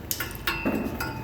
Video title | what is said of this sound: Toyota camry customer sells him self axle shaft replacement w his exhaust repairs | As long as it rings, I'm good.